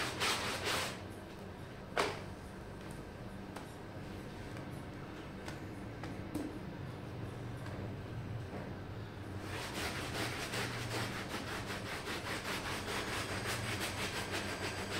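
A red plastic hand brush scrubs along a small, red-patterned wool pile rug that is wet and foamy. A brief scratchy burst and a sharp knock near the start give way to quieter, muffled wet rubbing. Then rapid, bright, hissing brush strokes take over and continue steadily to the end.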